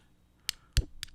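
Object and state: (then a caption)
Magnetic earbuds clicking together. Plastic Yostyle Bluetooth 5.0 magnetic wireless earbuds are tapped together three times, each giving a short, sharp click as the magnetic earpieces snap and stick to each other. The middle click has a brief low thump under it.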